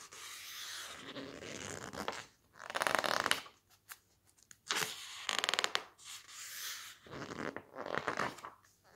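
A hand flips, rubs and squeezes the thick glossy green pages of an open softcover magazine-style book. Dry, bright papery rustles and crinkles come in uneven bursts, with short quiet gaps between them and no ringing tail.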